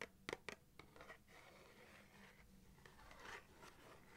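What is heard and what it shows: Long, dark-painted fingernails tap and scratch the printed cardboard surface of a small matchbox of 250 wooden matches, likely full and closed, held in both hands. A few sharp, dry taps open the clip, followed by a steady, soft scratching and rubbing across the cardboard.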